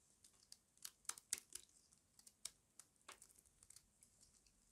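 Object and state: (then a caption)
Dry soap bar scraped with a blade. A small metal blade scrapes crunchy flakes off a solid, rectangular, embossed bar of dry white soap held in the hand. About 13 quiet, dry, crisp crunches and scrapes are heard, bright and high with almost no low end, each stopping at once with no ring.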